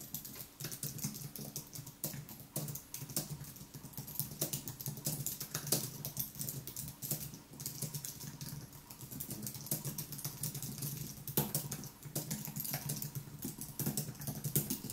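Fingertips type continuously on the white plastic keys of a thin aluminium-and-plastic wireless keyboard. The result is a steady stream of soft, rapid clicks with bright, crisp key taps over a low hum.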